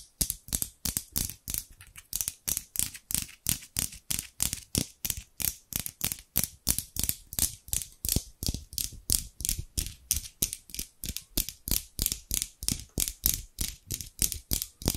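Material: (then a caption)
Steel. A hand with long pink nails repeatedly opens and closes a pair of large steel scissors close to the microphone. About 59 crisp metal-on-metal sliding clicks arrive at roughly three per second, each a bright, fast-decaying snip with a low thump underneath.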